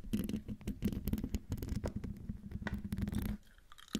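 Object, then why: Metal mesh microphone grille. Long, dark-painted nails of both hands scratch close up across the hollow metal mesh grille of a silver Blue Yeti microphone. The result is a dense, rapid run of rough, crackly scratches with a heavy low rumble and a steady low tone underneath. The scratching fades to quiet, sparse rustles near the end.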